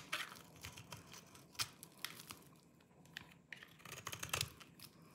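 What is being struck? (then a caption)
Bar of soap cut and scraped with a small knife. A small knife cuts and scrapes a solid, dry green oval bar of soap held in the palm, carving it deeply into flakes. The result is a quiet run of dry, crisp crunching and scraping strokes, bright and papery with very short decay, some strokes sharper and louder than others.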